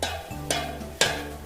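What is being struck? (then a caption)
Metal tin can. A tin can is tapped three times, each tap a short, dull "tok" with a bright attack that fades quickly. The taps show how a can has its own sound, unlike the ringing "ting" of glass.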